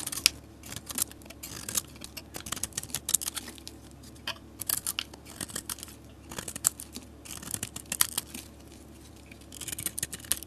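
A metal utility blade cuts into and shaves curls off a solid soap bar with a marbled coating and an orange interior, held in the hand. Short, crisp scraping and crackling strokes come in quick bursts, bright and hissy with little low end and almost no ring.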